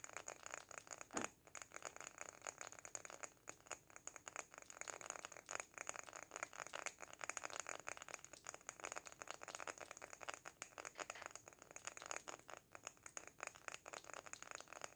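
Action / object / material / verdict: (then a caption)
tap / small glass jar filled with sand / glass / none. A small glass jar filled with sand and topped with an artificial succulent and lace trim is held in the hands and tapped rapidly on the glass with fingertips and short nails. The result is a dense, continuous stream of quiet, bright clicks and ticks with almost no low end, each tap dying away almost instantly.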